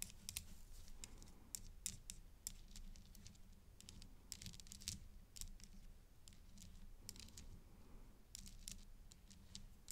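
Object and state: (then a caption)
Acrylic bead necklace on metal chain. A gloved hand taps a thin black stick against a pink acrylic bib necklace of glossy teardrop-shaped plastic beads on a gold-tone metal chain, lying flat on dark fabric. It makes a quick, irregular run of short, bright clicks and light rattles that stop almost at once, over a steady low hum.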